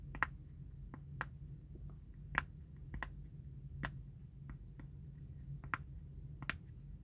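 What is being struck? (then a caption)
Silicone pop-it bubble toy. A large square rainbow silicone pop-it bubble mat lies flat on a fabric mat while its hollow, flexible bubbles are pressed and popped one after another with fingertips. Short, dry clicking pops sound at uneven intervals over a steady low background hum.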